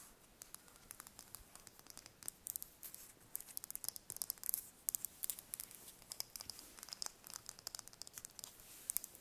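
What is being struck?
Hen's eggshell.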